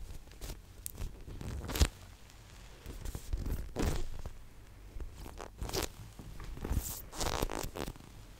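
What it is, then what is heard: Polyurethane foam squishy toy. A large blue-green-pink gradient unicorn squishy toy made of solid, soft polyurethane foam is held close to the microphone and tapped and scratched with long nails. The result is a run of soft, muffled taps and dry scratching and crinkling sounds, mostly low in pitch and with almost no ring.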